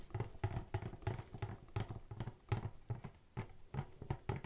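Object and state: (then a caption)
Cardboard box, hollow. A tall, hollow, black-and-white printed cardboard BARBER Jack product box is held close to the microphone and knocked and tapped with gloved fingertips. A quick, steady series of soft, dull, hollow thuds follows, with a low boxy resonance around 117 Hz. Each tap dies away almost at once, with very little bright content.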